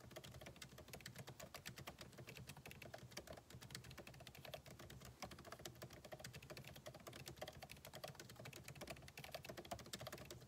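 Fingertips of both hands type rapidly on a backlit MacBook Pro keyboard with plastic keycaps set in a solid aluminum body resting on a desk. A quick, steady stream of short, dry clicks and taps with a low thud under each press and brief bright edges runs for the whole clip, with no ring after each hit.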